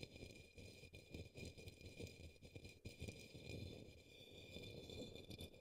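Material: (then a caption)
Plastic. A paintbrush brushes the base of an upside-down, hollow, empty turquoise opaque plastic cup or small bowl resting on a green towel. The result is a quiet, continuous scratchy rustling with soft low thumps and a faint bright hiss.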